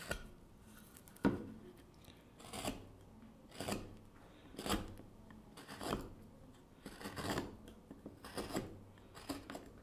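A gouge makes repeated short scraping cuts on the exterior wood of a small wooden kuksa cup held in a gloved hand. Each stroke gives a brief, dry, rasping scrape with a bright edge, separated by quiet pauses at an uneven pace.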